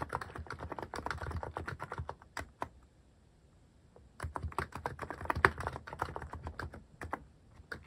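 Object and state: Mechanical keyboard with plastic keycaps.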